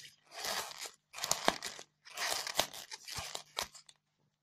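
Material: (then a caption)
Polystyrene foam. Long fingernails scratch and pick at the surface of a solid white polystyrene foam block, loosening small bits of foam. The bright, crunchy scratching comes in bursts separated by short silences, with sharp squeaky clicks where the nails snag the foam.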